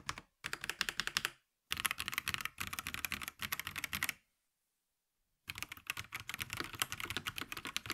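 Both hands type rapidly with fingertips on a VortexSeries GT65 Lite, a compact 65% mechanical keyboard about 30 cm wide with a hollow black plastic case, plastic keycaps and Huano switches, lying on a grey desk. Dense runs of bright, clacky keystrokes with very short decay and little low end come in bursts. Brief pauses break them up, and a longer silence falls between about 4.2 and 5.4 seconds before typing resumes.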